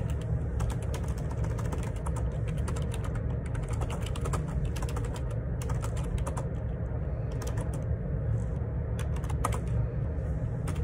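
Fingertips type continuously on a black Perixx Periboard 612 wireless Bluetooth dual ergonomic split keyboard, with plastic keycaps and a hollow plastic housing, resting on a grey desk. Rapid, light plastic key taps and clicks run throughout over a steady low rumble, with brief bright ticks standing out here and there.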